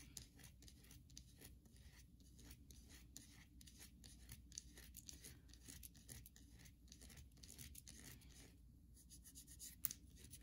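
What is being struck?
Solid soap bar.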